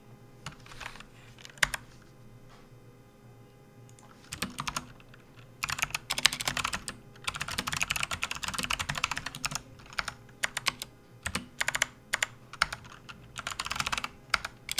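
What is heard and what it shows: A full-size plastic backlit RGB computer keyboard resting on a desk mat is typed on with the fingertips of both hands. Bursts of quick, bright plastic key clicks come in irregular flurries separated by short pauses, each click stopping almost instantly over a faint steady low hum.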